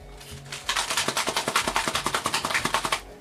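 A yellow, blue, brown and white Tenderflake puff pastry cardboard box (7 x 3.5 x 1.5 inches, 434 g) is shaken to hear its contents. After a quiet start, it gives a quick, uneven run of about 18 dull, papery knocks and rattles over roughly two and a half seconds.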